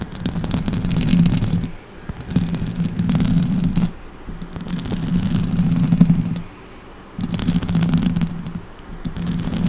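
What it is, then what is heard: Nails scratching a metal microphone grille. Long orange nails scratch and tap the metal mesh grille of a silver microphone. Close, dense scraping comes in long bursts with a boomy low rumble and a steady low hum, sprinkled with brief crackly ticks. The bursts are separated by short quiet pauses.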